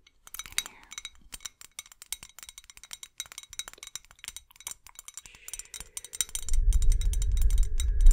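A tall clear glass bottle or jar with colourful LED fairy lights inside, held close to the microphone and tapped along its side with long acrylic nails, gives many quick, bright, short clinks in an uneven rhythm. After about six seconds a low, steady rumble rises underneath the tapping and stays to the end.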